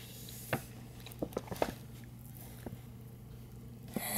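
Fingertips and nails tap and rub the edges of a hollow printed paper gift bag with a Chewbacca design, held on both sides by hands. Several short, dry taps stand apart over a low steady hum, and the clip ends with a brief bright rustle.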